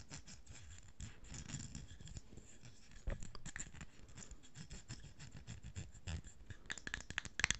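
Long fingernails tap and scratch the silver metal screw lid and the blue-and-pink paper label of a small cosmetic jar held in the hands. The result is a quiet, irregular stream of quick, dry clicks and scratchy brushing with bright ticks over a soft low rumble, with a few sharper taps toward the end.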